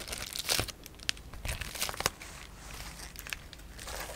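A large sheet of clear polyethylene bubble wrap with air-filled bubbles is held in both hands while fingertips and nails grip, crinkle and press it. Bright, dry crackling and crinkling rustles come in bursts, with sharp louder snaps standing out around half a second, a second, and two seconds. The sound thins to a softer continuous rustle toward the end.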